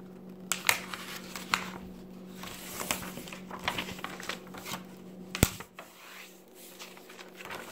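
An open paper magazine lying on a table has its pages grasped and turned with fingertips and long red nails. Soft crinkling and rustling are heard, punctuated by sharp, bright paper snaps and taps, over a faint steady low hum.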